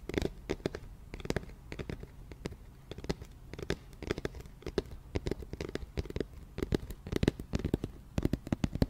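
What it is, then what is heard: Empty hollow cardboard box. A round, white cardboard flower box with a printed label, hollow and empty, is held in both hands and tapped rapidly with long nails. The result is a steady stream of quick, dry, hollow taps with a low, thumpy body, very little brightness, and almost no ring after each hit.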